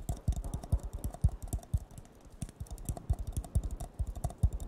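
A hollow, empty blue disposable paper cup, held with its bottom facing the mic, is tapped rapidly with fingertips and nails. The result is a quick, uneven stream of soft, deep thumps, each with a faint bright click. Every tap dies away almost at once.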